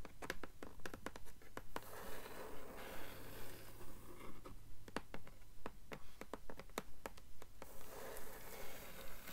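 Long fingernails tap and scratch on the blank endpaper inside the cover of a blue hardcover book. Quiet, sharp taps come in a steady rhythm of about two per second, with soft papery scratching between them over a low, constant hum.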